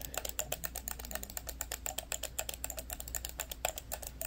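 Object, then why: Hard plastic computer mouse. The buttons of a small, hollow, orange and black hard-plastic corded computer mouse are clicked repeatedly by thumbs, producing rapid, irregular, sharp clicks with a bright, snappy tone and almost no ring. A steady low hum sits underneath throughout.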